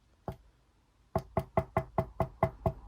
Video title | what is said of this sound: My WWE Championship's Collection | the main plate itself, so this one here, this is metal. So if I tap it, that is the metal version.